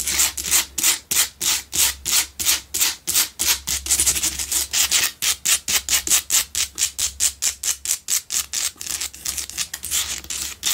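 Long nails rapidly and forcefully scratch the sides and top of a large, solid pink Himalayan salt block double candle holder. About 49 separate bright, hissy scraping strokes come in a quick, steady stream, each one short and dry with almost no low end.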